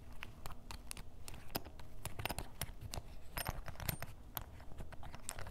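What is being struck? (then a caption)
Canvas fabric fanny pack. A ballpoint pen tip is rapidly scratched over the surface of a soft, hollow grey canvas fanny pack held on a table. The result is a dense run of quick, dry scratching strokes with short bright ticks over a low, papery rustle.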